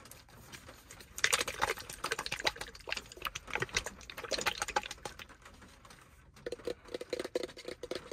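Fingertips and nails tap rapidly on the sides of a small white plastic lotion bottle with a black cap, held in the hand. The taps make quick, dry, bright clicks in dense bursts, pause briefly, then resume with a slightly hollower tone.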